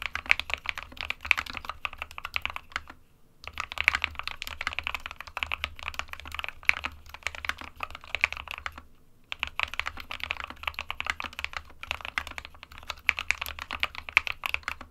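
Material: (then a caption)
Plastic. An SK61 small 60% mechanical keyboard with a plastic case and plastic keycaps, hollow with switches inside, is typed on continuously by the fingertips of both hands. A rapid stream of bright, sharp clacks dies away instantly. Two short pauses break the typing.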